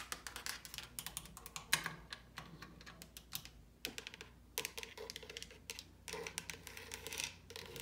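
Long pink acrylic nails tap and scratch a large, solid white-painted wooden panel door with raised molding, near the latch. Quick, bright clicks and scratchy strokes come in dense, irregular bursts, each dying away almost instantly, over a faint low steady hum.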